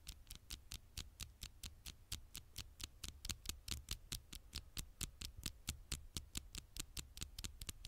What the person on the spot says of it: tiny taps on the screen